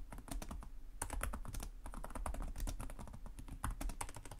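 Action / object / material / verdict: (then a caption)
tap / plastic laptop keyboard / plastic / none. Both hands type rapidly with their fingertips on the plastic chiclet keys of a black laptop with a hollow chassis. The result is a dense, steady stream of short clicky taps with a hollow, thumpy low body and bright ticks on top. Each tap dies away almost at once.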